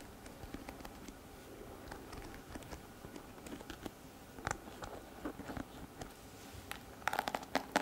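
Long fingernails flick and scratch the plastic bristles of a pink plastic hairbrush, producing rapid, dry ticking and scratching. Sharp, bright clicks come in a quick, uneven patter over a faint background and grow denser and louder near the end.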